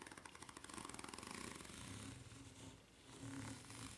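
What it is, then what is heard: Rubber flip-flop sole scratched. Long nails scratch rapidly back and forth across the serrated underside of a white ridged rubber flip-flop sole. The result is a quick, rhythmic, bright rasping with a low rubbery rumble underneath. It eases briefly near the end before resuming.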